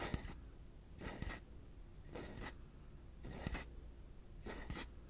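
A yellow hollow plastic pig piggy bank is held in the hands and scratched and tapped with the fingertips. Five slow, evenly spaced bursts of dry, bright scratching are heard, each carrying a few sharp little taps. Quiet pauses and a faint low hum sit between the bursts.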